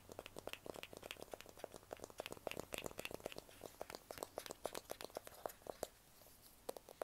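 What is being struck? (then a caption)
Smartphone in a plastic case. A small, solid handheld smartphone in a black plastic or silicone case is held in both hands while fingertips and nails tap and scratch the back of the case. The result is a quick, irregular stream of short, dry clicks and scratchy ticks with a hollow midrange tone near 620 Hz and bright edges. The clicks pause briefly near the six-second mark before a few more taps.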